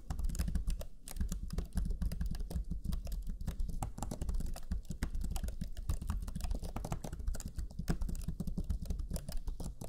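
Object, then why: Plastic laptop chiclet keyboard. Fingertips of both hands type rapidly on the black plastic chiclet keyboard of a Lenovo Legion 5 laptop, its low-profile plastic keys pressed in a dense, continuous stream of short taps. The clicks are soft and low, with a deep, thumpy body and almost no bright edge, each one dying away instantly.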